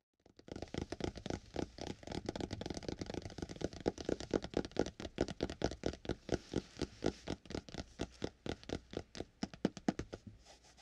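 Fingertips of both hands tap and scratch across the burgundy fabric-covered hard board cover of a small spiral-bound notebook lying flat and closed. The result is a rapid, uneven run of soft, dry taps with brief scratchy strokes, each dying away almost at once, with a low-mid thump under a brighter rustle.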